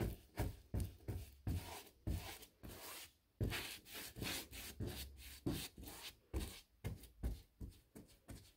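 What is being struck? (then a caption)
Molded hardboard door brushed with a bristle paintbrush. A bristle paintbrush is dragged in brushing strokes along the panel molding and flat stiles of a large white painted six-panel interior door of molded hardboard, likely a hollow-core molded composite. About fifteen separate scratchy, rubbing swishes are heard, each with a dull low thump underneath and a bright bristly hiss on top.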